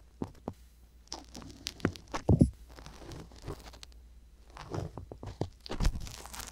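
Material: Silicone.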